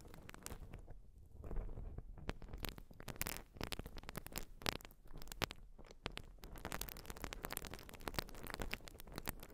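Long nails scratch and squeeze a white open-cell urethane foam sponge, giving a steady run of soft, crackly scrapes and squishes. Quick bright clicks and rustles rise out of a low, muffled texture, with louder scratches popping up throughout.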